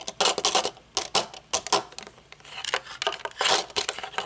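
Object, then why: Metal-frame sunglasses with tinted lenses. Long nails tap the metal frame and dark tinted lenses of aviator sunglasses, first resting on a table and then held up. The result is irregular bursts of quick, bright clicks and ticks, each fading almost instantly, with no low end.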